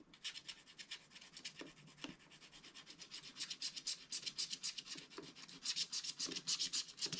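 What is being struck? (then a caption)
Scratch art paper card scraped with a wooden stylus. A wooden stylus scratches the black coating off a scratch art page in a small spiral pad lying flat, revealing the gold layer beneath. The result is a steady run of dry, bright, raspy scraping strokes, quick and loosely rhythmic, growing louder toward the end.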